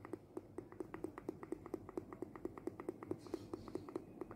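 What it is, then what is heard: Mezuzah case with a rolled scroll inside. A mezuzah, the small case fixed to an Israeli doorpost, is shaken so its contents, a small rolled goat-skin parchment scroll, can be heard moving inside. The result is a steady run of short, dry, tapping rattles that die away almost instantly, with a hollow mid-range knock.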